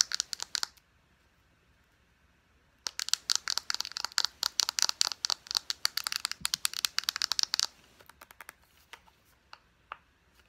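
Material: Plastic.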